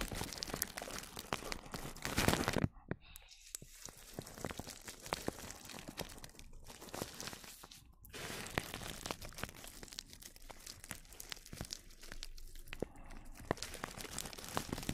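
A small turquoise-bristled brush sweeps over clear plastic cling film wrapped across the microphone, giving close, dense crinkling and brushing with sharp bright crackles. A loud burst of crinkling builds near two and a half seconds, then the sound drops to softer, sparser rustling before growing fuller again from about eight seconds to the end.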